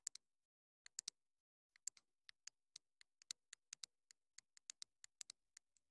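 Long nails rapidly tap and scratch the casing of a small, hollow, black plastic clip-on wireless mini microphone transmitter. About 26 sharp, dry clicks come in irregular bursts and pairs. They are quiet, very bright and hollow, with almost no low end and no ring after each hit.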